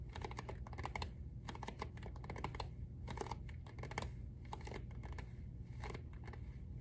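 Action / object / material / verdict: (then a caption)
tap / hardcover journal with cloth-covered board cover / cardboard / none. Fingertips and nails of one hand tap rapidly on the front cover of a medium-size, closed hardcover journal with a dark navy covered-board cover printed "Choose your own adventure," held upright in the other hand. The result is a quick, dry stream of short clicky taps over a steady low hum.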